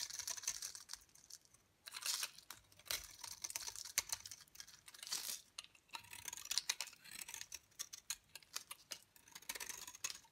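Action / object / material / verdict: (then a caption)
scrape / bar soap shaved with a blade / soap / none. A utility knife blade scrapes and shaves curls off a solid, dry, rectangular yellow DURU bar soap held in hand over a gold glitter mat. The result is a series of crisp, bright, dry scraping and crackling bursts with quick ticks and no low end, rising and falling in short strokes.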